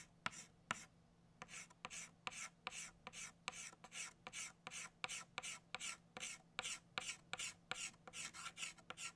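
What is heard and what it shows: An orange chalk stick scratches back and forth on a flat black chalkboard to fill in a circle. Two sharp taps are followed by a short pause, then a quick run of about two dozen bright, raspy strokes with short gaps between them. The sound is quiet, with a faint steady low hum underneath.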